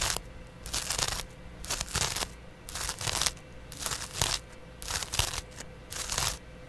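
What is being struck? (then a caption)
Cellulose sponge scratched with a metal blade. A flat, palm-sized yellow cellulose sponge, porous and soft, is held in one hand and scratched with a small double-edged razor blade held in the other. The clip is a series of short, bright, crunchy scraping strokes separated by brief pauses. A faint steady hum sits underneath.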